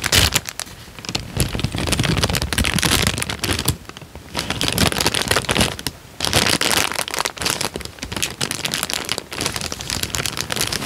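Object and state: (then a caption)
Paper sheet being crinkled. A thin tan paper sheet is folded and rubbed between the fingers in front of the mic, producing dense, bright crinkling and crackling across the whole clip. The rustling comes in bursts with brief quieter dips around the four- and six-second marks before picking back up.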